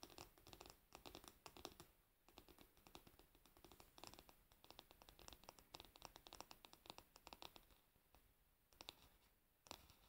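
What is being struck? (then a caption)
Varnished wooden hairbrush back. Long nails scratch and tap the glossy, varnished solid wooden back and handle of a hairbrush held up close. The result is a quiet, dense run of short, dry, bright scratches and clicks with almost no ring, broken by a few brief pauses and occasional sharper taps.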